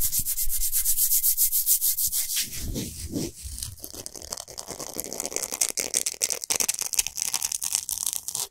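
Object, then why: Himalayan salt block. Hands rub and fingernails scratch quickly across a large, flat, solid pink Himalayan salt block. The result is a fast train of bright, gritty scraping strokes with a dull low rumble swelling midway, then sharper, more uneven scrapes toward the end.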